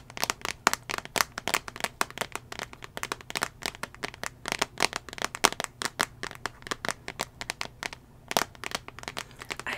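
Fingernails tap rapidly on the glass touchscreen of a small iPad mini tablet that is held in hand and fitted in a solid teal plastic/rubber case. The result is a dense run of sharp, bright clicks that die away almost instantly, with a faint steady low hum underneath and a brief lull just before a final cluster of taps.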